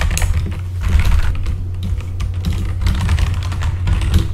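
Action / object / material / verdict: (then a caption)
tap / mechanical computer keyboard with plastic keycaps / plastic / none. Both hands type with their fingertips on a full-size backlit mechanical computer keyboard with plastic keycaps. The result is a steady run of quick key clicks that shift into clattering bursts. Under the clicking sits a constant low hum.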